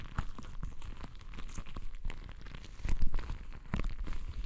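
A palm-sized, soft, full, translucent rubber stress ball filled with colored gel water beads is held in both hands, squeezed and rubbed with fingertips. The result is dense, low, squishy crackling and sticky crinkling with many quick, short pops, swelling louder near the end.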